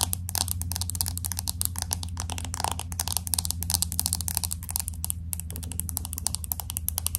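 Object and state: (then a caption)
Glass-back smartphone tapped with fingernails. Long acrylic nails tap quickly on the glass back of a pink smartphone with an aluminum frame, held in both hands. A rapid, steady stream of sharp, bright clicks plays over a constant low hum.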